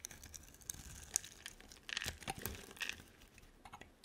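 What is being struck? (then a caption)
Bar of soap. A utility knife blade scrapes and carves a hand-sized, solid purple bar of soap with a dark coating into slices. Dry, crisp scraping and crinkly crunches, bright and close, with sharp clicking snaps scattered through the cuts.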